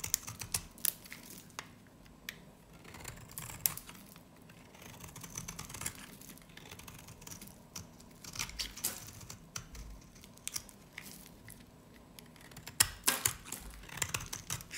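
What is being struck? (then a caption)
Bar of soap scraped with a knife blade. A solid, dry, varnished pale green soap bar is held in the hand and scraped and carved with a utility knife blade. Crisp, bright scraping and sharp ticking crackles come in irregular bursts over a low, quiet hiss, with a denser cluster of louder snaps near the end.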